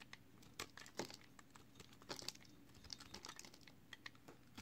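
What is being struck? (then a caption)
Bar of soap. A small, solid piece of green marbled recycled soap, held in the hand, is shaved along its edge with a utility knife blade, producing soap flakes. Quick, dry scraping and crinkling strokes come in irregular bursts over a faint low hum, with bright, high-pitched, crisp edges that stop almost instantly.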